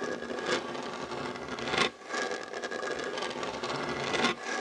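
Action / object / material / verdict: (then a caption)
scrape / wooden tabletop / wood / none. Short nails and fingertips scratch the surface of a solid, dark wooden tabletop beside a fabric heart coaster. The result is a continuous, dry, rasping scratch with a bright, hissy texture and almost no low end, rising into a few louder strokes along the way.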